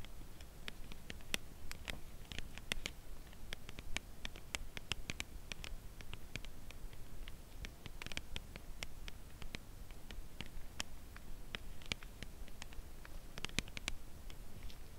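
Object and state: Cardboard chocolate bar box tapped with fingernails.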